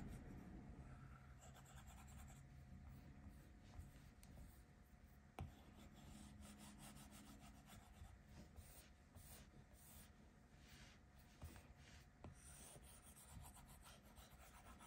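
A plastic Apple Pencil tip rubs back and forth over the flat glass touchscreen of an iPad Pro lying on a table in coloring strokes. The result is a quiet, steady scratchy swishing over a low, dull rumble, with four faint ticks standing out.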